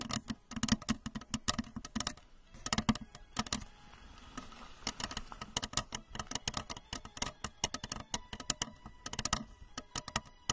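Long acrylic nails tap rapidly on the curved shell of a tall, hollow, blue translucent plastic rocket-shaped lamp with a red plastic base. Quick, bright clicks come in dense bursts with a hollow low resonance, and each tap dies away almost at once. A softer, quieter stretch falls in the middle.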